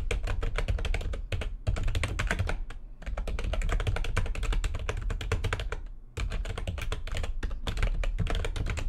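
Fast typing with long nails and fingertips on a full-size plastic keyboard with white backlighting and a hollow housing gives a dense stream of quick, bright clicks over a low, hollow thud. The rapid bursts run almost continuously for about nine seconds, broken only by brief pauses near 1.3, 3 and 6 seconds.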